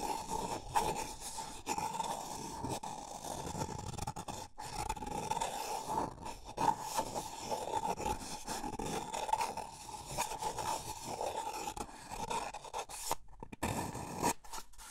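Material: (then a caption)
Paper. Fingers rub and scratch a small, empty, hollow white paper cup held in the hands, with the inside of the cup shown at the end. A steady, dry scraping texture continues throughout over a constant hollow ringing tone near 900 Hz. There are brief silent gaps around 4.5 and 13 seconds.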